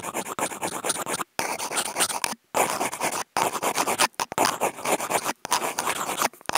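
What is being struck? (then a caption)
Corrugated cardboard sheet scraped by wooden toothpicks. Two wooden toothpicks with clipped-on contact mics scratch and rub a flat brown corrugated cardboard sheet, their tips crossing. Dense, rapid, dry rasping strokes run in bursts broken by a few brief silences, centered in the midrange with a bright, hissy top.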